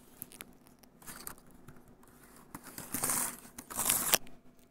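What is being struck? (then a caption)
Plastic laptop keyboard and palm rest. Fingertips and nails scratch and tap across the keys and palm rest of a grey plastic laptop keyboard. Quiet, bright scratchy rasps and small clicks build into louder hissing swells around the third and fourth seconds, with little low-end weight.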